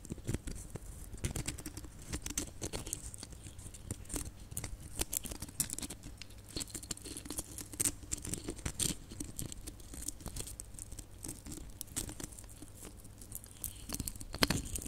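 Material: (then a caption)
Plastic. A cluster of small red glitter plastic Christmas baubles is scratched with fingernails across the glitter surface. Dense, quick scratchy patters and soft taps run throughout with bright, crackly texture and little ring. A low steady hum sits underneath.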